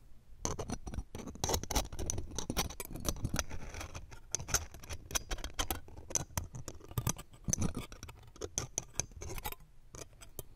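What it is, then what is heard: Metal microphone mesh grille being scratched. Metal tweezers scratch and tap the round steel wire-mesh grille of the left pencil condenser microphone. The result is a rapid, dense run of short, dry clicks and scratchy rasps, each with a faint bright metallic tinge over a soft low thump that dies away almost instantly.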